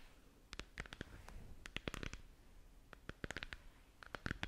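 Long nails tap and scratch the surface of a round, hollow, head-sized moon or galaxy lamp sphere of translucent plastic held in both hands. Quick, irregular bursts of sharp, bright clicks stop almost instantly, over a soft scratchy hiss and a faint low rumble. The overall level stays quiet and close.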